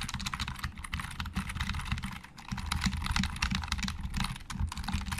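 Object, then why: Plastic computer keyboard. Both hands type quickly with their fingertips on a hollow black plastic Logitech keyboard. The keys give a continuous run of short, dry clacks with a low, hollow body, and each stroke dies away almost at once. The typing eases briefly just after the two-second mark, then picks back up.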